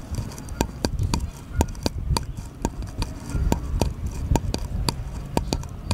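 A small, light, solid wooden paddle-shaped piece is held at an angle against a table and tapped and scratched with the fingertips. Crisp, dry taps with bright clicky edges sound in an uneven rhythm over a soft, low, rumbling scratch. Each tap dies away almost instantly.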